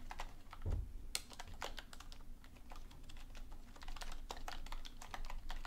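Fingers with long painted nails type on a black plastic computer keyboard on a desk, with a book lying still nearby. The sound is rapid, dry, bright clicks over a low rumble, with one louder thump near the start. Faint speech may be present.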